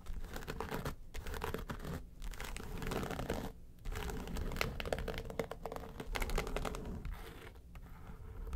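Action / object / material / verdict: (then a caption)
scrape / flat case with faux-leather covering / faux leather / none. Long nails tap and scratch the lid of a flat, hollow yellow case with a textured faux-leather covering. The result is a dense run of dry, crackly scratches and quick taps with a low, hollow body and almost no ring, broken by a few short pauses.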